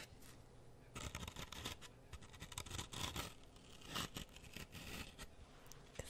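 A solid grey floral foam brick held close is repeatedly poked and scratched with a wooden toothpick. The result is a quiet series of many short, crunchy, scraping onsets with bright, airy texture. The bursts come in uneven clusters with brief pauses between them.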